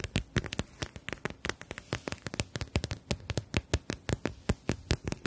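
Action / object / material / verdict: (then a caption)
tap / plastic gel bead eye mask / plastic / none. Long nails tap and scratch across a clear plastic eye mask filled with gel beads and edged in fabric, held in both hands. Quick, dry taps with a low thump and bright clicky tops, about 33 in all, land in an uneven rhythm with faint scratchy rustling between them. Each tap stops almost at once.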